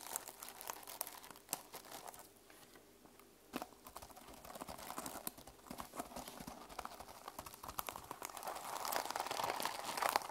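Long pastel nails scratch and brush the teal and silver plastic flip-sequin fabric cover of a small, closed notebook lying flat on a wooden table. Dense, dry crinkling and rustling is broken by many quick, bright clicks as the sequins flip. The sound stays quiet, dips briefly in the middle, and grows fuller and brighter toward the end.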